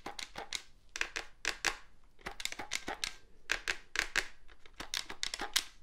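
Fingertips and nails tap and scratch the casing and keypad keys of a hollow black plastic cordless phone handset. The result is a run of sharp, bright clicky taps in irregular clusters, with brief scratchy rasps between them. Each tap dies away almost instantly, with little low end.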